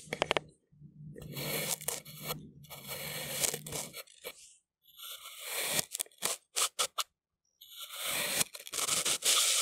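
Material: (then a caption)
Kinetic sand. A large steel kitchen knife with a wooden handle slices straight down through a round, solid, pink kinetic sand disc with a purple center, pressed flat on a white surface, cutting it into layered strips. Bright, crunchy scraping cuts come in bursts separated by brief silences, with a quick run of short, sharp crunches near the middle and a longer gritty scrape at the end.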